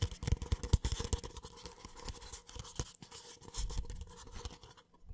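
A small, empty white paper cup is held sideways while fingertips tap and scratch its base and wall. The result is a dense run of dry, scratchy rustling with soft, hollow low thumps, loudest at the start. It thins out and briefly drops to near silence before a few final scratches.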